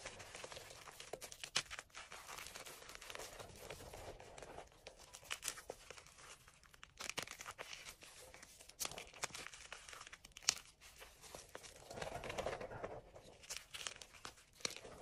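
Hands squeeze and crumble soft, solid chunks of powdery green-dyed gym chalk with the fingers in an enamel bowl. Quiet, dry crunching and crinkling fills the clip, with bright, high-pitched texture and frequent short, sharp snaps as the pieces break apart.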